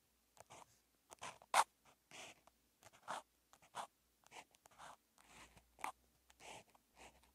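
A felt-tipped outline marker is drawn across a flat sheet of white paper in a Chinese-character practice notebook with a red grid. Short, steady writing strokes rub and scratch the surface in separate bursts, with brief quiet gaps between them. The strokes have a dry, papery scratch with bright highs and no low rumble.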